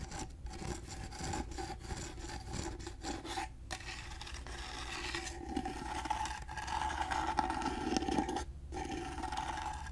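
Fingernails rub and scratch rhythmically along the grooved side and edges of a carved wooden box with a gold finish. The result is a quick, uneven rasping scrape that runs steadily throughout, with a faint tonal ring beneath it.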